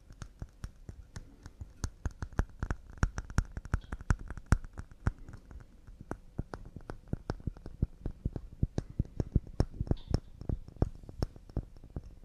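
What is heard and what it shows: Wooden cups made of pine are tapped fast and delicately, about fifty light, quick taps across twelve seconds. Each tap is a short, dry, low wooden knock that dies away almost instantly, with no voice heard.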